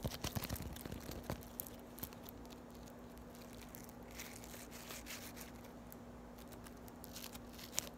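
A hand-sized lump of soft, pliable yellow floam, tiny polystyrene foam beads set in slime, is squeezed, pinched and rubbed between fingertips and long white acrylic nails. Quiet, dense crunching and crackling runs throughout, with sharper clicky pops near the start and end over a steady low hum.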